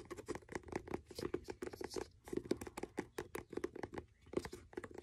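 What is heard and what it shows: Fingertips and nails tap and patter rapidly on the cover of a blue faux leather hardcover notebook. The dense, dry taps have a dull midrange thud around 360 Hz and light bright clicks from the nails, each dying away almost instantly. The playing comes in quiet, uneven bursts with brief pauses between them.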